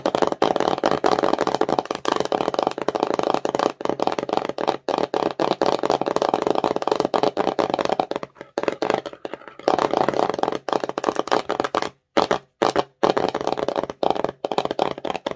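Long nails rapidly tap and scratch the front face of a small, empty, hollow, glossy cardboard slime box. The result is a dense, dry stream of quick clicks and scrapes with a midrange body and a bright edge, pausing briefly near the middle and again toward the end before resuming.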